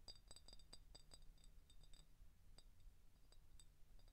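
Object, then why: Glass soda bottle. An empty clear glass IBC cream soda bottle with a printed label is tapped and scratched on its neck and body with short painted fingernails. Quick, light clicks with a bright glassy ring repeat over a low, steady hum, with soft scraping between the taps.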